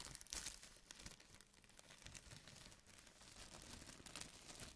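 A large, thin, white printed plastic bag, empty, is crumpled and smoothed out with both hands. It makes a steady run of bright, crisp crinkling and rustling with sharp little crackles and short surges of louder crumpling.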